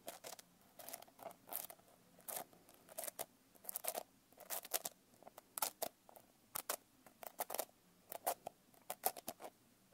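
Long painted nails tap and scratch the coarse glitter surface of a blue glitter-covered paper notebook held up close. Quick, dry, scratchy taps come in irregular bursts, with a papery midrange body and bright, gritty rasps that stop almost instantly. There is near silence between the bursts.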